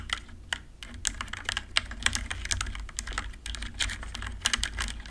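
Rapid key presses on a compact RGB-backlit mechanical keyboard with plastic keycaps, typed with long nails and fingertips. The result is a quick, uneven stream of bright, sharp plastic clicks and clacks that stop instantly, over a steady low background hum.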